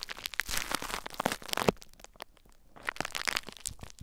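Fingertips and nails lightly scratch and crinkle clear plastic bubble wrap mounded over a recorder. Dense, bright crackles and crinkles fill the first two seconds, fade to near quiet, then return in a looser scatter of sharp ticks.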